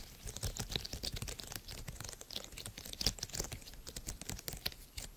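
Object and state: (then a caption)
Silicone pop-bubble fidget toy. Fingertips and nails press and pop the hollow bubbles of a small purple soft silicone bubble-grid fidget toy held in both hands near the microphone. The result is a rapid, continuous stream of short, dry, clicky pops with bright crackling tops and soft low thumps, each one dying away almost instantly.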